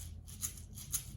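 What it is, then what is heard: Plastic egg shaker filled with beans. A plastic egg filled with little beans is shaken in a rhythmic pattern, giving a soft, bright rattle of many small grains with two sharper accents standing out. A low steady hum sits underneath the quiet shaking.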